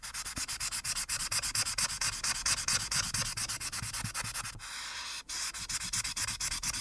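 A marker's felt tip scrubs fast back-and-forth strokes across the top edge of a flat printed paper coloring page on a dark backing, held down by one hand, filling it in with orange. The bright, scratchy rubbing comes in a quick, steady rhythm. Around the middle, it briefly smooths into a continuous hiss with a short gap, then the choppy strokes resume.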